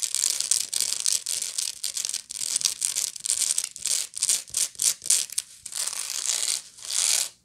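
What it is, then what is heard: Woven straw bag scratched with nails. Long nails scratch the bottom of a medium, hollow woven straw bag and then move to its woven side. The result is a dense run of dry, bright, hissy scraping strokes with almost no low end. The scraping starts as nearly continuous rasping, then breaks into quicker separate bursts before one long final stroke.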